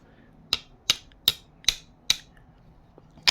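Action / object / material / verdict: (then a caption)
tap / phenolic resin intake manifold spacer / phenolic resin / none. A phenolic resin intake manifold spacer, made to fit under the intake manifold of a 4 litre Intech SOHC engine, is tapped six times. Each tap gives a short, bright, dry click that sounds almost like plastic and dies away almost instantly. The spacer is credited with up to a 40 degree temperature difference.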